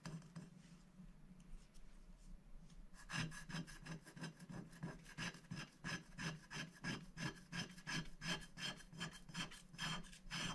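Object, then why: Black-coated scratch-art paper scraped with a wooden stick. A wooden stick scratches the black coating off a thin, flat scratch-art sticker sheet lying on a glass board. Soft, faint rubbing for the first three seconds gives way to a steady run of short, rasping strokes, each a bright, papery scrape over a low hum around 160 Hz.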